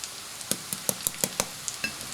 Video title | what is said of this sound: Onion Pakora Tutorial | that's dry that means it's cooked